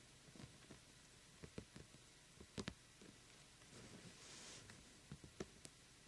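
A small hollow glitter-coated plastic jack-o'-lantern lamp is held between both hands while the fingertips and nails of both hands quickly tap and scratch its glittery surface. Soft, dry clicks and taps come in clusters over a quiet background, with a brief bright scratchy rasp near the middle. The taps are short and die away almost at once.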